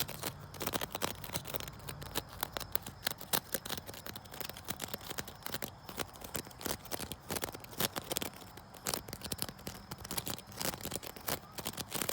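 A wicker chair is scratched outdoors, building up to tapping on it. Dense, rapid, dry clicks and crackles with a bright, papery edge fill the whole clip, each one dying away almost instantly, over a faint low background.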